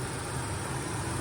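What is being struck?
Nothing is struck.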